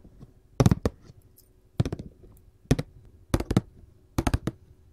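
Metal-tipped gold filigree claw nails tap the lid of a glossy printed paperboard candy box in five quick clusters of rapid taps. Each tap is a short, dry, hollow thud with a bright clicky edge that stops at once, with near silence between the bursts.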